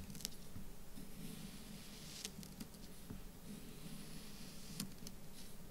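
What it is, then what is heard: Kinetic sand being cut. A folding knife or multitool blade slices and scrapes through a small solid mound of orange kinetic sand on a black surface, with loose crumbs around it, while fingertips steady and press the mound. Soft, quiet, low granular squishing and crumbling runs throughout, with brief bright ticks as the blade cuts and the sand breaks apart.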